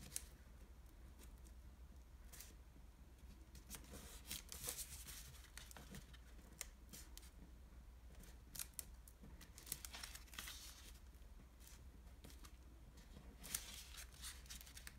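A narrow, folded sheet of light blue washi origami paper on a table is folded and creased at the edges with fingertips. Soft, bright crinkles and brushing rustles come in bursts, with a few sharp crisp snaps as creases are pressed in, over a steady low hum.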